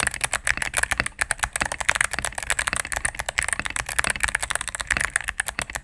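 A cream full-size mechanical keyboard, with plastic keycaps on a solid plastic case, is typed on rapidly with fingertips and medium nails. The result is a dense, continuous stream of crisp, bright clacks centered around 1.6–2 kHz. Each press is very short and dry, with almost no low end.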